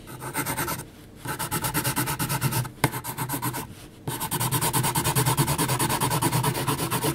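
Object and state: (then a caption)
Graphite pencil hatching on heavy paper. A yellow HB wooden pencil hatches across a large flat sheet of 300 gsm mixed-media paper bearing a graphite portrait, its graphite tip scratching the surface. Quick, rhythmic back-and-forth strokes make a dry, raspy scratching with a bright edge, broken by two short pauses before the hatching resumes, steadier and a little louder.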